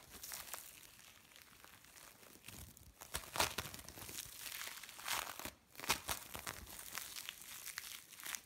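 A lump of mixed blue and orange bead play foam is squeezed and crumbled in the hands, up close. It makes a steady, bright crackling and crinkling of tiny pops, with louder crunchy bursts at about 3.4, 5.2 and 6 seconds. There is almost no low end.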